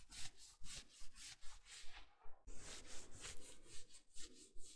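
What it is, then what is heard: Plush fleece bathrobe being scratched. Fingertips and nails scratch and rub the sleeves and shoulder of a navy, soft plush fleece or terry robe being worn. The result is a steady run of quick, bright, hissy scratching strokes at a brisk, fairly even pace, with a short pause partway through before the strokes resume.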